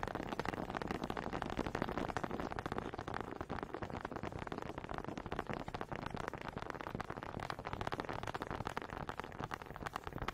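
Two small solid wooden honey dippers with grooved heads are held in both hands with long red nails and knocked and rubbed together close up. The result is a dense, continuous stream of dry, quick wooden clicks and scraping with no ringing.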